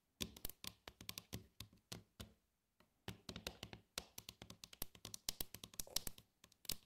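Long acrylic nails tap and trace along the ridges and dividers of a glossy, medium-sized, hollow and empty red plastic compartment tray. Dozens of quick, dry, bright clicks come in bursts, with a brief pause near the middle, and each tap dies away almost instantly with a faint hollow body underneath.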